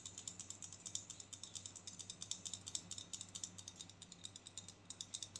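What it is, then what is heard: Plastic hair clip. A small pink and black plastic claw hair clip is clicked open and shut and tapped with long nails. The result is a rapid, uneven run of sharp, bright plastic clicks and taps that die away almost instantly, over a faint steady low hum.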